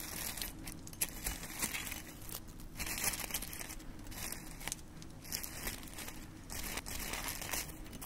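Fingertips dig into a dish of dried red rose petals, crushing and crumbling them by hand. The result is a steady, dense crinkling and crackling with bright, papery rustles over a low background rumble.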